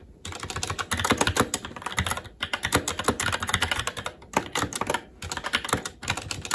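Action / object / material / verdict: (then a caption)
tap / mechanical keyboard, plastic keycaps on metal plate / plastic / none. Fingertips of both hands type continuously on a SteelSeries Apex 7 TKL mechanical keyboard with red linear switches and black plastic keycaps on an aluminum plate. Rapid, bright clacky key taps with short, dry decay come in bursts, separated by brief pauses.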